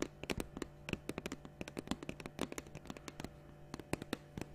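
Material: Plastic.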